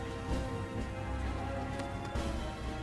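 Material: Nothing is struck.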